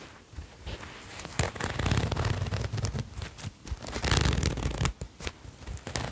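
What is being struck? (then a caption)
Fleece jacket with zipper. A red patterned sherpa fleece jacket with a zipper, handled by fingertips that pull the zipper and rub the fleece near the collar. Soft rubbing and brushing swells are broken by quick, bright zipper clicks and scratches in an uneven rhythm. The loudest bursts are a sharp click at about 1.4 seconds and a long rub around 4 to 4.8 seconds.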